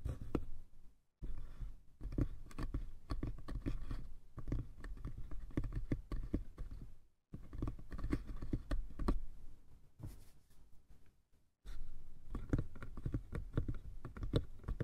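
Fingertips tap rapidly on the sides and top of a small light-wood box with a brass latch. The result is a dense patter of short, dull, low-heavy knocks with little ring. It comes in bursts separated by brief silences.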